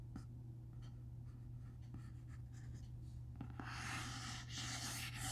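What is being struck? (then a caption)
Hardcover book with cloth and paper cover. Fingertips trace and scratch across the cloth- and paper-covered board front cover of a large black hardcover comic omnibus, The Eternals Omnibus, standing upright and closed on a wooden table. Soft, light scratching strokes sit over a steady low hum, then become a denser, brighter, louder rasping in the last couple of seconds.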